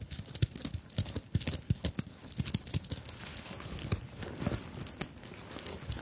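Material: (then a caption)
Sequins and beads. Long nails scratch and tap the beaded surface of a small, soft fabric handbag covered in sequins and beads, held up close to the microphones. Rapid, crisp clicks and dry, scratchy rustles come in quick, uneven bursts, each tick bright and very short with almost no ring. A few louder taps stand out over a steady, quiet crinkling texture.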